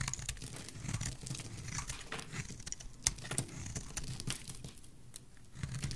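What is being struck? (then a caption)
Bar of soap cut with a metal blade. A solid, pale green rectangular bar of dry soap is scraped and cut with a metal utility blade. Dense, crumbly crinkling and tearing scrapes come with sharp, bright crackles over a soft low thumping. A few louder snaps stand out around the three-second mark.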